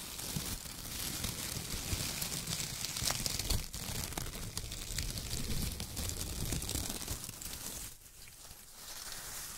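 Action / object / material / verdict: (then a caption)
scrape / shredded kraft paper / paper / none. Hands squeeze handfuls of loose brown shredded kraft paper and rub their fingertips across the pile. Dense, crinkly rustling and crunching fill the clip with bright, hissy highs, then briefly drop quieter near the end before picking up again.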